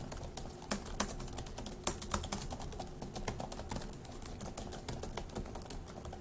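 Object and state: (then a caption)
Plastic laptop keyboard being typed on. Fingertips of both hands type fast on the plastic keys of a dark grey laptop keyboard. A quick, uneven stream of short, bright clicks and taps is heard, with a few sharper, louder strokes over a faint, steady low hum.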